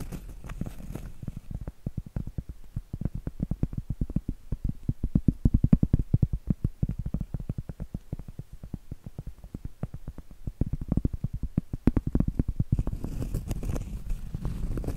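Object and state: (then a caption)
Cork board tapped and scratched. Long acrylic nails rapidly tap and scratch a large, thin, flat, solid round cork trivet held close up. The result is a dense run of dull, muffled, low clicks with almost no ring, swelling in busier bursts midway. Softer, slightly brighter scratching fills the start and end.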